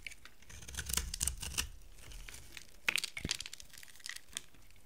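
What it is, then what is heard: Dry soap bar being carved and scratched. A solid, dry amber-brown soap bar is carved with a utility knife and then scratched with long nails, leaving dry shavings. Crisp, bright scraping and crackling clicks come in irregular bursts over a soft low rumble.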